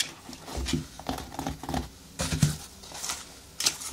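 Long nails scratch and rub across the synthetic upper of a single blue children's sneaker with a foam sole, hollow and empty, resting on a table. Dry, crinkly scraping bursts come in uneven strokes, with a soft hollow low thud beneath and bright hiss on the sharper swipes. Each stroke dies away almost immediately, leaving brief quiet gaps.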